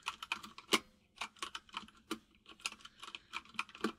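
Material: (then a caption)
Plastic. Fingertips of both hands type on a full-size mechanical keyboard with white and grey plastic keycaps and a hollow case. About 19 quick, separate key taps are heard in irregular bursts, each a bright, clicky plastic tap that dies away almost at once.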